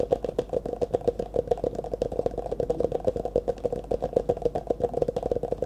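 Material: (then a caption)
Plastic. An empty, hollow disposable clear plastic cup, held in both hands in front of the face, is tapped and scratched with fingertips and nails. About 35 quick, dry taps follow one another in a steady, fast rhythm, each with a hollow tone near 500 Hz and almost no ring. Light scratching fills the gaps between them.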